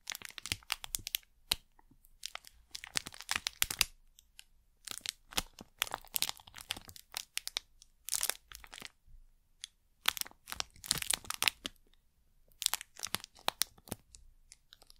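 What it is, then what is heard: Plastic wrapper packet. A thin printed plastic wrapper packet is crinkled, squeezed and scratched with long nails close to the mic. Bright, dry crackling comes in quick clusters of crunchy snaps, separated by short quiet gaps. There is almost no low end and no ring after each crackle.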